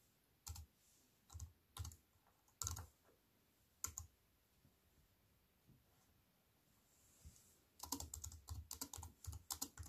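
Fingertips with white-painted nails press the black plastic keys of a slim, compact wireless keyboard with a grey metal-look frame, lying on a wooden table. A few sparse, bright clicking key presses come first, then a pause, then a quicker burst of typing near the end.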